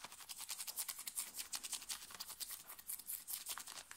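A hand scratches its nails quickly across a thin, worn, light blue cotton t-shirt at the shoulder and upper chest. The result is a rapid, uneven series of dry, bright scratching strokes with almost no low end.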